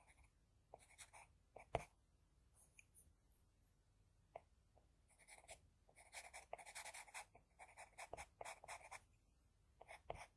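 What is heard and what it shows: A wooden HB pencil held in the fingers scratches small strokes across flat white drawing paper, shading an eye in close view. Quiet, dry, bright scratching comes in short bursts and clusters, with a few sharper ticks of the lead against the sheet between stretches of near silence.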